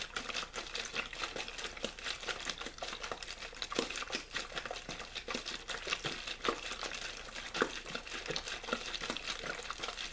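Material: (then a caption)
Plastic. A clear plastic water bottle with a blue label, hollow and mostly empty, is crinkled and squeezed with fingertips. Dense, rapid crackling and crinkling fills the whole ten seconds, bright and papery with little low end, made of many sharp short snaps at a steady moderate level.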